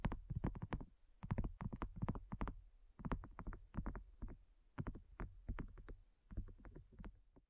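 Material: Silicone.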